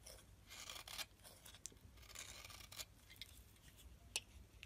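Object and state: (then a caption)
Bar soap scraped with a blade. A metal blade scrapes thick curls off the surface of a solid white soap bar held in the palm. The result is a series of soft, bright, dry scraping strokes with short crisp edges over a quiet low hum, each ending with a sharp little snap.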